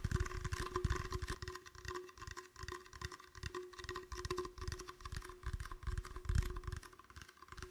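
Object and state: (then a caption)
Empty plastic bottle. An empty, clear, hollow plastic bottle held sideways is tapped with fingertips and nails in a rapid, uneven run of short, dry taps. The taps sound mostly as low, hollow thumps with quick decay, over a faint steady tone.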